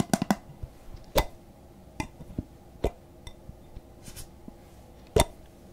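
A medium glass jar candle, filled with solid wax and fitted with a paper label and a lid, is held in the hands close to a microphone and tapped with fingertips and nails on its sides and lid. The result is an irregular series of short, dull clicks and taps that die away almost instantly, with faint rubbing and scratching between them.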